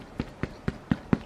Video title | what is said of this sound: CHANEL REISSUE REVIEW, WEAR & TEAR AFTER 10 YEARS!! | this feels very soft and can you hear that it's much softer